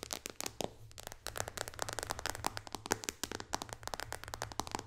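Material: Glass.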